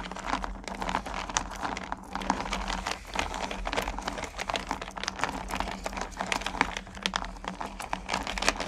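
Fingers with long nails rake and stir through a purple plastic bucket full of small solid candy corn pumpkins. A dense, continuous stream of short, bright clicks and rattles is heard as the candies shift against each other and the plastic, over a faint steady low hum.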